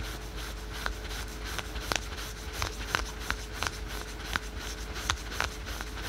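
Fingernails scratch the printed fabric of patterned spandex/polyester synthetic stretch yoga pants worn on the thigh. The result is quick, dry, scratchy strokes with short bright rasps, about eleven standing out sharply. A steady low rumble and a faint constant tone sit underneath.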